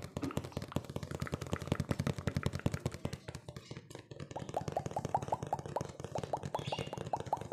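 A hollow, medium-sized printed cardboard cookie box is held up and tapped quickly with fingertips and nails. The result is a dense run of dry, short taps with a low, hollow thump and almost no ring. In the second half, some taps take on a light, pitched knock.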